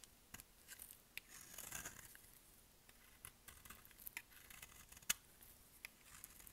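A solid light-green bar of dry soap, held in one hand, is carved with a utility-knife blade, shaving off curls and flakes in repeated cutting and scraping strokes. The sound is quiet, bright and dry: crisp scratchy scrapes and sharp little ticks with almost no low end and no ring. A longer rasping scrape comes early on, and the sharpest snap lands around five seconds.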